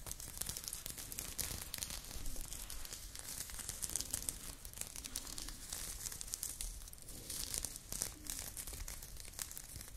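A blue crochet knit top, worn, is scratched with long nails at the shoulder and chest. The result is a steady, dense run of bright, crinkly scratching that sits under a low rumble and holds at a fairly even, quiet level.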